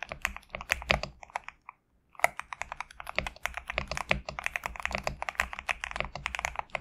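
Fingertips type continuously on a compact GMK67 mechanical keyboard with PBT plastic keycaps, producing a rapid stream of crisp, bright clacks over a faint low hum. The typing breaks off in a short pause near the two-second mark, then resumes at a steady, busy pace until the end.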